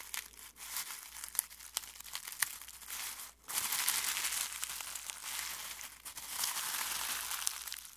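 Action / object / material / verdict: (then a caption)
scrape / dried rose petals in a glass bowl / rose petals / none. Fingertips pick up, crumple and rub dry rose petals from a clear glass bowl, giving a steady, bright crinkling rustle with many small crisp crackles. A brief quiet gap comes just after three seconds, and then the rustling returns louder and denser.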